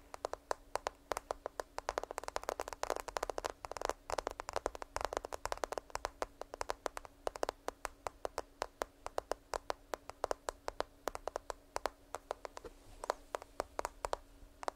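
Long nails tap rapidly on a black smartphone with a glass screen and case, held sideways in both hands. The taps are quick, dry, bright clicks that stop almost instantly, over a faint steady low hum.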